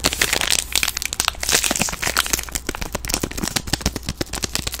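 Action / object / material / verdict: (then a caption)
scrape / soap bar in thin plastic film wrapper / plastic film / none. A palm-sized green soap bar, solid inside and sealed in a thin plastic film wrapper, is squeezed and crinkled with fingers and long nails. Dense, bright crackling and crinkling snaps follow each other rapidly throughout, over a faint steady low hum.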